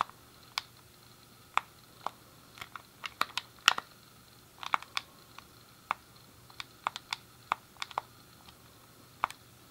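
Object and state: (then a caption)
Plastic game controller buttons. Fingertips and a thumb press and click the face buttons and D-pad of a hand-sized, hollow grey plastic SNES game controller. About twenty sharp, dry plastic clicks are heard, irregularly spaced and sometimes in quick pairs. They are bright with a hollow midrange tick near 1.4 kHz and die away almost instantly over a quiet background.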